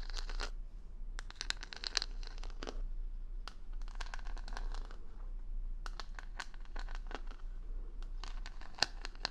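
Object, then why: Wooden hair brush back covered in plastic rhinestones. Long nails scratch and tap the plastic rhinestone stickers covering the back of a solid wooden paddle hair brush held close to the microphone. Clusters of crisp, bright clicks and scratchy ticks come in quick bursts with short pauses between, over a steady low hum.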